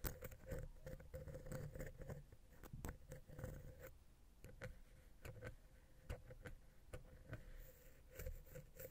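A wooden ear pick taps rapidly at the center of a silver metal XY stereo microphone capsule on a Zoom H6 recorder. The taps are quick, quiet and muffled, with a soft, low-heavy patter that dies away almost at once. A faint steady tone sits underneath throughout.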